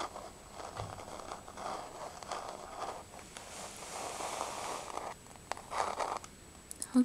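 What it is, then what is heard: Laminate floor, solid. Long nails tap and scratch across a solid, flat wood-grain laminate floor. Soft, papery scratching strokes swell and fade in the midrange, broken by brief bright clicks, with a sharper tap at the very end.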